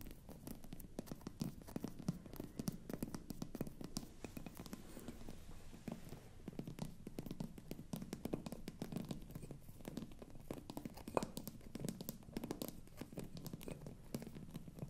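Long nails and fingertips scratch the textured glass stopper of a hollow, apparently empty frosted glass bottle. The result is a quiet, continuous stream of dense scratching and tiny clicking taps, with most of the energy low and little brightness. The taps are very short, with no ring.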